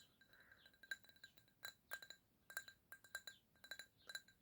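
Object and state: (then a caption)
Drinking glass with juice tapped. Fingernails tap a drinking glass holding apple juice in a quick, uneven series of light clinks. Each tap is short and bright, with a faint glassy ring around 1.6 kHz and a higher overtone above it. The taps are quiet and spaced by brief pauses.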